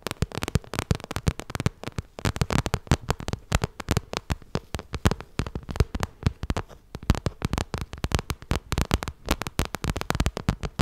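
Long red nails tap and scratch the glossy side of a small, hollow pink vinyl cosmetic bag. Dense, rapid, dry clicks and soft thumps run throughout the clip, with a dull low body and very short ring.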